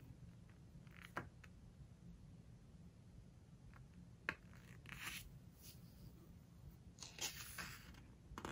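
A large hardcover home decoration book lies open on a floral cloth while fingertips and long nails rub, squeeze and turn its glossy paper pages. Quiet, crisp papery crackles and scrapes come in short bursts, with a couple of sharp ticks from the nails, over a low steady hum.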